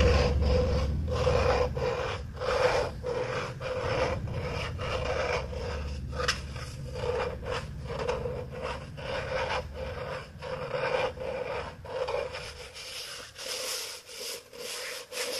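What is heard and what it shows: Fingertips rub and scratch the side of an empty, hollow blue plastic tumbler cup held up close. The result is a fast, uneven run of raspy scraping strokes, about three per second, over a steady resonant tone near 500 Hz. A low rumble underneath fades out after about 12 seconds.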